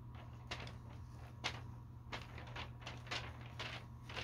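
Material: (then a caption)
Paper. A hand rests on the open pages of a thin glossy paper store catalog lying on a carpet, then the fingertips lift and turn the pages one after another. Each flip makes a short, bright papery swish and crackle that dies away almost at once. A steady low hum runs quietly underneath throughout.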